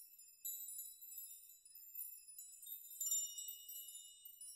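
Fingers touch and sway a chime of many long hanging steel nails, rocking them so they clink against each other. Quiet, bright metallic tinkles ring out in overlapping high tones with no low end, swelling and fading as the nails keep swinging.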